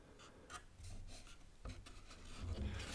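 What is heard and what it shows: Hands grip, rub and shift an assembled panel of reddish cedar boards screwed to two light pine cleats, lying flat, along its edges. The sound is a soft, rasping scrape over a low rumble, with a few brighter brushing strokes and a sharper bump partway through.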